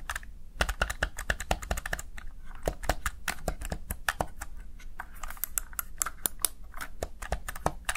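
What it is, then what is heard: Plastic gaming keypad. Fingertips with short nails repeatedly press and tap the backlit mechanical-style keys of a Razer Tartarus Chroma, a small hollow black plastic gaming keypad. The result is a rapid, uneven run of short, crisp clicks with bright tops and a soft low thump under each press, each dying away almost instantly.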